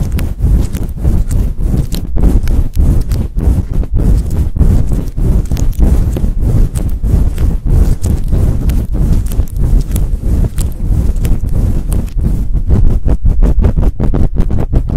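Hands with long patterned nails grip and scratch a large, fluffy synthetic-fur microphone windscreen loudly, fast and aggressively. The result is a continuous, dense stream of deep, muffled rubbing thumps and scrapes, almost entirely low in pitch with little brightness, and each burst fades quickly.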